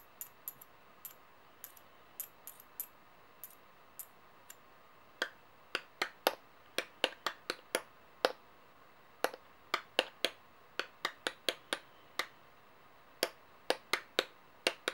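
Two large metal coins held between the fingers are tapped together above other coins lying on a table, giving 35 short, bright clicks with a faint tinny ring. The early taps are soft and scattered; the later ones come louder and faster in an uneven rhythm over quiet background hiss.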